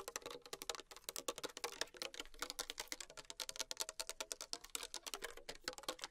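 Long acrylic nails tap fast on the sides of a small, thin PET plastic water bottle with a blue cap, held in hand and containing liquid. It makes a rapid, dense run of bright, crisp clicks with a hollow plastic tone around 600 Hz. Each tap dies away almost instantly, with little low end.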